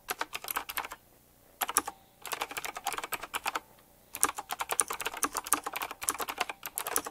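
Fingertips type on a retro typewriter-style mechanical keyboard with round plastic keycaps and metal rims. Quick bursts of crisp, bright clicks are broken by two short pauses.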